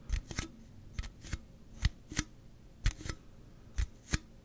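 A slim Celsius aluminum drink can, held horizontally, is scratched and tapped along its side with the fingernails. Ten short, sharp taps ring out with a dull low thump and a bright crackle, paired in uneven bursts. Faint scratching fills the quiet gaps between them.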